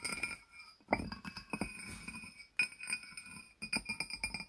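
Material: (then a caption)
Glazed ceramic. A small, hollow, barrel-shaped glazed ceramic jar with its lid on is tapped on its sides with the fingertips and nails of both hands. The result is a quick, irregular run of short, bright clinks and clicks that die away almost at once, with a faint tonal ring around 750 Hz and quiet pauses between bursts.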